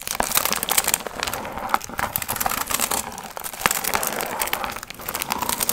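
Long nails scratch and crinkle the gold foil fringe on a hollow, pumpkin-shaped piñata. A steady, bright crinkling and crackling rustle runs throughout, with sharp little clicks and scrapes and almost no low end.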